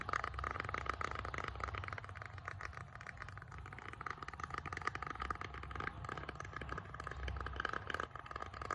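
Fingernails tap and scratch rapidly across the grain of a solid bamboo board, making a dense stream of dry, crisp clicks and raspy scrapes at a steady level. Faint city noise hums underneath throughout.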